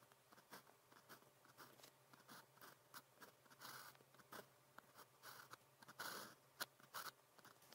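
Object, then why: Thin practice paper and plastic ballpoint pen. A blue plastic ballpoint pen with a metal tip scratches across thin practice paper printed with a red calligraphy grid, writing characters. Short, dry scratchy strokes come one after another with brief pauses, each a bright hiss with a faint low hum underneath. The overall level stays quiet and close.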